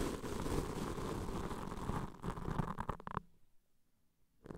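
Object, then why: Foam microphone windscreen brushed with plastic-bristle wands. Plastic-bristle mascara wands, one in each hand, brush and scratch along the sides and bottom of black foam microphone windscreens. A dense, muffled, low rumbling scratch runs for about two seconds, then breaks into a few quicker brushing strokes. It drops to near silence just past three seconds before a faint scratch returns at the end.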